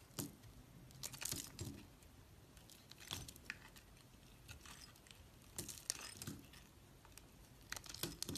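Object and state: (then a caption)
Bar of soap being shaved. A utility knife blade shaves curling layers off a solid beige-brown bar of soap held in the hand. Quiet, bright, crisp scraping and crackling strokes come in short bursts, separated by near-silent pauses.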